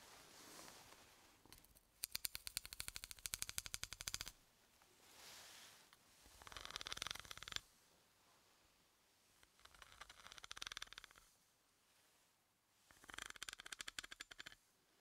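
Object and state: Steel bolt.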